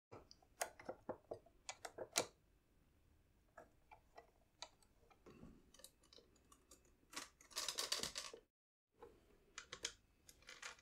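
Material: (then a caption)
Plastic. Fingertips press and tap the plastic piano keys and plastic bass buttons of a large red pearloid (celluloid) 72-bass piano accordion, a hollow instrument body with a metal grille and cloth bellows. The result is a quiet series of short, dry, bright mechanical clicks with almost no ring, including a dense flurry of rapid taps, a brief silence, and then a few more clicks.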